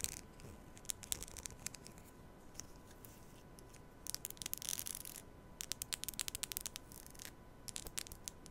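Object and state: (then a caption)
Plastic comb. A black plastic comb is held in front of the mic while long nails scratch and strum its teeth. The result is quiet, bright clicks and dry scratchy bursts, bunched at the start and in dense runs through the second half, over a faint steady hum.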